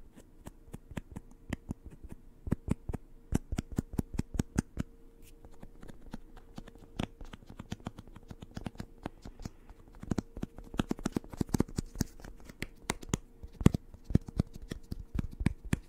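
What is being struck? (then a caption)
Cloth-covered hardcover book. Fingertips and nails tap quickly on the solid board spine and cover edge of a black, cloth-covered hardcover novel. Dozens of short, dry, dull taps come in irregular bursts, with no ring after each. A faint steady hum runs underneath.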